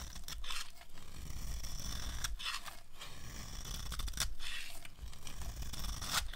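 A metal knife blade scrapes and shaves the gold painted surface off a solid rectangular bar of dry white soap stamped IVORY, held in one hand, exposing the white soap underneath. Continuous dry, crunchy scraping with a heavy low rumble is punctuated by repeated brighter rasping strokes.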